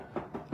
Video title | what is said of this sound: Evolving Fireplaces & Importance of Fire Standards | it sounds like wood